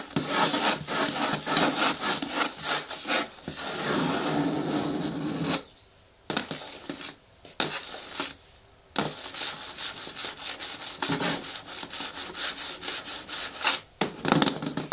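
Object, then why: Large hard plastic bin with lid. Long nails scratch the sides near the back edges of a large, hollow, green hard plastic bin with a lid. The result is rapid, bright, raspy scraping strokes in quick bursts, broken by a few short quiet pauses.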